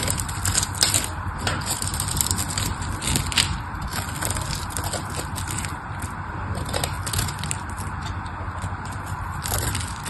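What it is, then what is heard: Bar soap being carved. A small knife carves flakes off a solid pink soap bar with a scored surface, making a steady run of dense, crackly scraping and cutting sounds. The texture holds a low rumble underneath with bright, high crisp snaps layered on top, at a fairly even level throughout.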